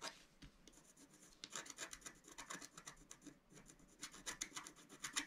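A pointed wooden stylus held in the fingers scratches across a flat, A4-size black-coated scratch-art sheet over rainbow foil lying on a table. The result is a quiet run of short, bright, dry rasping strokes, with no ring after each one. The strokes come denser and louder toward the end.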